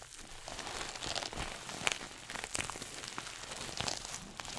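A small red glossy coated-nylon shoulder bag, a pouch held up before the face, is scratched and squeezed with fingernails. It gives a steady, bright crinkling and scratching texture, with sharp crisp crackles that pop out now and then over a soft, continuous rustle.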